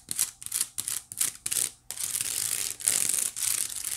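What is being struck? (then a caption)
Small woven wicker basket. Long nails scratch the side weave of a small, hollow white woven wicker basket, giving dry, bright, crackling scrapes. Short scratching strokes separated by brief pauses give way to longer, steadier scratching near the end.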